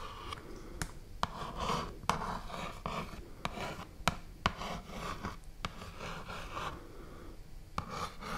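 Long nails scratch and rub across a full, medium-sized cardboard box of rice, making a soft, dry rasping with a midrange hiss. Sharp, quick clicks cut through now and then, and each fades almost instantly.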